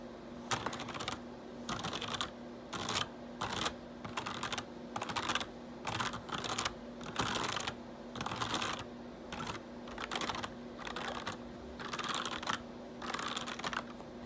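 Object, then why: Plastic computer keyboard. Fingertips type in quick clattering bursts on a black plastic RGB backlit computer keyboard, with a hand sweeping over the keys between them. Bright, crisp key clicks come in clusters separated by short pauses, over a faint steady low hum.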